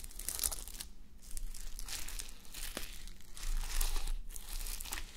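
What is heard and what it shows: Long nails scratch across a fabric sleep mask covered in plastic reversible sequins, resting on a white mannequin head. The result is a soft, uneven crinkling and rustling, with bright scratchy swells and brief sharp ticks over a faint low hum.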